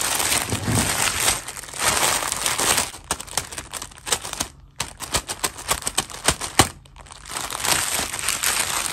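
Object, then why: Thin plastic bag. Fingertips press and rub a clear, thin plastic bag holding four fashion dolls as it lies flat on a white table, producing bright, dense crinkling. Midway the sound breaks into sharper, separate crackles with a brief near-silent pause, then steady crinkling resumes to the end.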